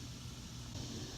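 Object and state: Nothing is struck.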